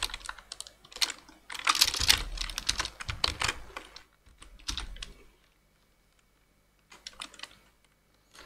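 Two-handed fingertip typing on a black plastic full-size computer keyboard produces bright, short clicky key taps in irregular flurries. The taps are densest and loudest in the first half, go quiet for a stretch of more than a second, then resume in a lighter burst.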